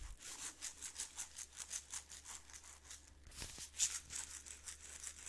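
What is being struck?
Glass jar of instant coffee granules with plastic lid.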